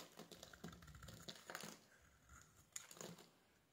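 A solid, hand-sized, pale green bar of soap is held in one hand and shaved with a metal blade, turning off crumbly curls. Quiet, dry, crackly scrapes and small clicks with a bright edge come in quick uneven bursts, each dying away almost at once.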